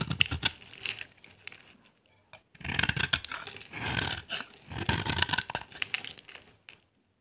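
A dry, solid cream-white bar of soap is held in the hand and scraped with a utility knife blade, carving off crumbly shavings. Bright, dry scratching and crackling comes in several bursts of strokes separated by short pauses.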